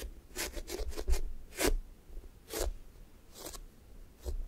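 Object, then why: Foam squishy toy with a sticky top. Fingers and palms press into and peel off the pink sticky top of a thick strawberry toast squishy toy made of soft, solid foam. The result is a series of short, crackly, bright sticky-tearing bursts separated by quiet gaps, over a faint low rumble.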